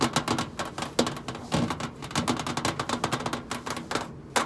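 Long pointed acrylic nails tap and drum on the flat stainless steel side panel of a large, hollow commercial microwave. The result is a rapid, uneven run of crisp, bright clicks with a short metallic ring, plus a few louder knocks.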